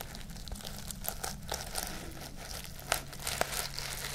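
Long nails scratch and brush across the sequins of a flat pink reversible-sequin pouch. The result is a steady, soft crinkling and rustling texture with bright, scratchy detail. A few sharper clicks stand out near the end over a faint low hum.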